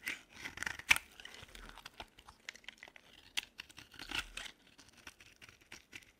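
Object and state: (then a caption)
Dry bar soap being carved. A short metal blade shaves and scrapes flakes off the end of a solid cream-colored dry soap bar held in the hand, and crumbly shavings fall away. The result is a series of dry, crisp, bright scraping and crackling bursts with a sharp louder crunch near the start, with almost no low end and no ring after each stroke.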